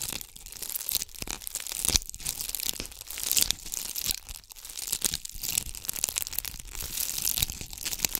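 A palm-sized ornament ball covered in red and gold bugle (tube) beads is scratched with the long acrylic nails of both hands. The result is a steady, bright, crackling rattle of beads that swells and dips in quick bursts, with almost no low end.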